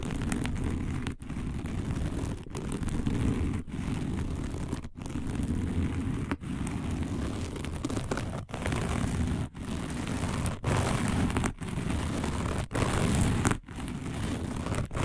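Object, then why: Woven fiber placemat. Long nail tips of both hands scratch quickly and roughly across a round, dark, coiled woven fiber placemat. The result is a dense, crackling, low-heavy scratching texture that comes in steady bursts, with brief pauses roughly every second.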